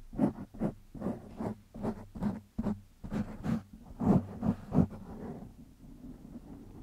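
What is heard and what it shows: Fingertips scratch a black foam windscreen on a microphone in a series of short, rough strokes. Each burst is a dull, close, low-pitched rustle with a slight hum, and the strokes fade to a soft, faint rubbing in the last two seconds.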